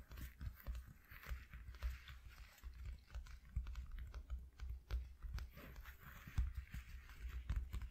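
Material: Cardboard.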